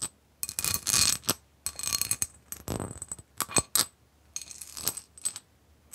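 Long nails tap and scratch a clear, etched, medium-size empty glass bowl held in the hands. Bursts of bright, high-pitched clicking and scraping come with brief glassy pings, separated by short quiet pauses.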